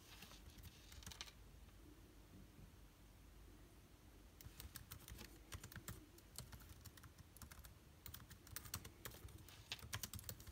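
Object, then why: Plastic laptop keyboard. Fingertips of both hands type on a backlit MacBook Air keyboard with plastic keys, giving quick, dry, bright clicks that die away almost at once. A short burst of typing is followed by a pause of about three seconds with only a steady low hum, then a longer run of rapid, uneven keystrokes to the end.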